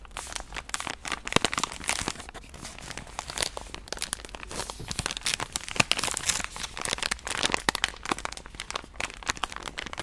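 A full pink soft-plastic wet-wipe pouch is held in hand and tapped and scratched with long painted nails. A steady stream of quick, bright crinkles and crunchy clicks comes from the film, with short sharp taps scattered throughout and almost no low end.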